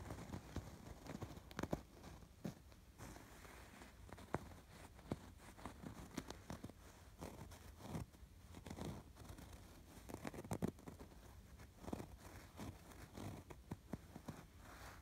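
Fingertips and short nails scratch along the stitched rows of a soft stuffed throw pillow with raised red, pink and blue chain-stitch embroidery. Quiet, dry scratching and rasping strokes repeat irregularly throughout, dull and low-weighted with little brightness and no ring after each stroke.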